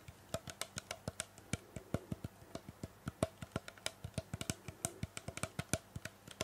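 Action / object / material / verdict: tap / plastic trigger spray bottle / plastic / none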